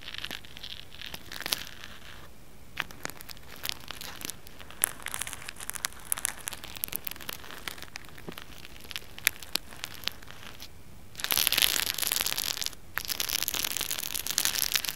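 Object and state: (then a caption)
Plastic hair roller being scratched. Fingernails scratch and rub the ridged bristle surface of a small pink hollow plastic hair roller held in the hand. The result is a dense, bright, crackly scratching full of sharp ticks, which turns louder and more continuous from about 11 seconds, with a brief dip just before 13 seconds.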